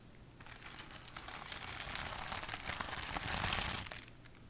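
A large sheet of clear plastic bubble wrap, held up in front of the body, is scratched and tapped with long acrylic nails. Dense, bright crinkling and crackling with quick tapping builds after a quiet start, grows loudest near the end, then drops back to a faint hush.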